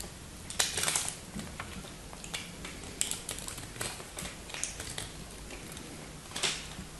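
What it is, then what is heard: Bar of soap being cut and chipped. A solid teal bar of soap held in the hands is cut and chipped into small chunks with a dark pointed knife, white-tipped nails visible. Crisp, bright cracking and scraping snaps come in an irregular series, the sharpest bursts near the start and end. Between them sits a quiet, steady low hum.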